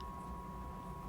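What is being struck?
Nothing is struck.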